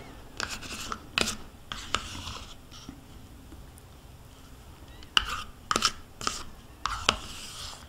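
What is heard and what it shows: A metal spoon scrapes along the inner wall of a small white plastic yogurt cup, held in hand, that is partly empty with yogurt smeared inside. Short, bright, scratchy scrapes with sharp clicky onsets come in two bursts, separated by a quiet stretch in the middle.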